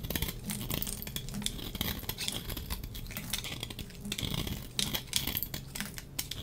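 A solid, dry pink soap bar held in the hand has its edges shaved with a metal box-cutter blade in repeated scraping strokes. The sound is a steady run of short, dry, crackly scrapes with bright, high crunch around 3.4 kHz over a soft, low body, each stroke dying away almost at once.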